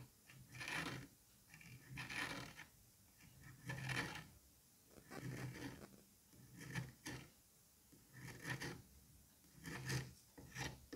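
The thin pointed tip of a pink-handled curette or scalpel is drawn through a palm-sized solid dome of green kinetic sand in a white dish, scraping its surface. Soft, grainy rasping strokes rise and fade in an uneven rhythm, each carrying a low, dull body and a bright sandy hiss, with quiet pauses between them.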